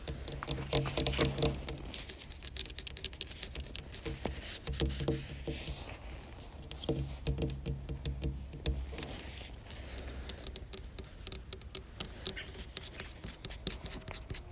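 Long black almond-shaped fingernails tap and scratch across a large, flat, reddish varnished wooden panel or door. Quick, irregular clicks and short scraping strokes come in dense clusters over a steady low hum, with each tap dying away almost immediately.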